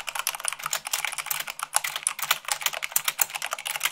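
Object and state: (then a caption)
Mechanical keyboard being typed on. Long pink nails and fingertips type fast, about 98 words per minute, on a full-size mechanical keyboard with white plastic keycaps on a black frame. A dense, steady stream of sharp, bright plastic clicks and clacks rattles on with no low end, each keystroke dying away almost instantly.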